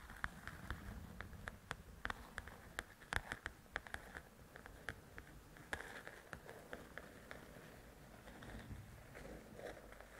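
Long nails tap the top edge of a large, flat paperback coloring book with a glossy cover and scratch across the cover. A quick, irregular run of short, dry taps clicks with a crisp midrange snap over a faint low rumble. Softer, hissing scratches fill the gaps and take over near the end.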